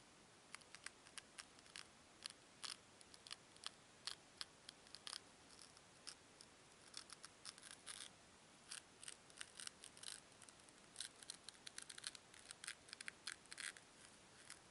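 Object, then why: Two small foam cubes. Two small, solid white foam cubes are rubbed and pressed edge to edge between fingers with long nails. The result is a quiet, steady stream of short, crisp, bright squeaks and crackles with almost no low end. Each one stops instantly, with no ring.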